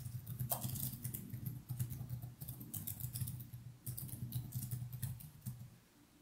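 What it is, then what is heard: Plastic laptop keyboard being typed on. Fingertips type continuously on the plastic keys of a laptop keyboard, producing a steady stream of light, bright clicks over a soft low hum. The tapping fades out near the end.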